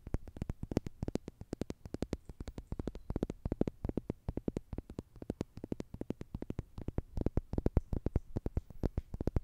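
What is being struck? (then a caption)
Plastic tube toy. A slim orange plastic tube with a green end, likely hollow, is held in both hands and scratched and tapped along its length with long nails. A quiet, rapid series of short, dry clicks and taps sounds throughout, each with a low, hollow thump and almost no ring.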